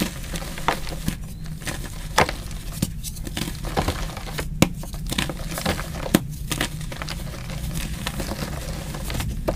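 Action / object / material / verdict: scrape / block of gym chalk (magnesium carbonate) / chalk / none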